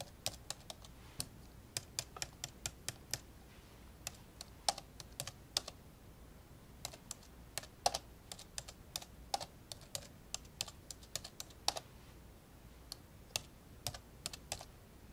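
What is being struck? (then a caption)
Plastic laptop keyboard keys. Index fingertips tap slowly on the keys of an old dark grey plastic laptop lying open. Short, bright, dry plastic clicks come at an uneven typing pace, each dying away almost instantly over a faint low background hum.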